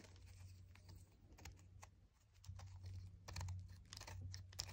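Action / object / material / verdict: scrape / chalk disc / chalk / none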